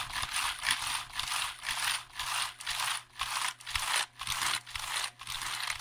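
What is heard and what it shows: A hollow black plastic computer keyboard is held at angles near the microphone while fingertips tap its keys fast. The result is dense, bright, clattering rattles that come in quick bursts, roughly two per second, with little low end.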